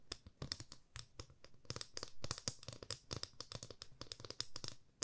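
A 30 cm solid light wooden ruler, held flat in both hands, is tapped along its edge and face with long fingernails. The result is a rapid, uneven stream of short, dry clicks, each with a low woody knock and a bright, scratchy tick, and almost no ring. The taps come in clusters with brief pauses between them.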